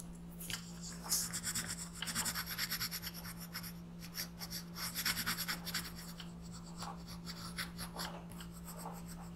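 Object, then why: Graphite pencil on a paper sheet. A black pencil rubs steadily across a paper coloring page lying flat on a desk, shading an alien's eye while the other hand holds the page. Bright, scratchy strokes rise and fall in quick bursts over a steady low hum.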